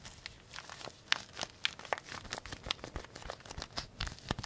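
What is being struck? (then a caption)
Paper tea bag envelope. A small, thin white-and-green printed paper tea bag sachet, already crumpled, is held up in one hand and squeezed and crinkled with the fingertips. The result is a quiet, irregular run of dry, bright crinkles and sharp snaps with no ringing afterward.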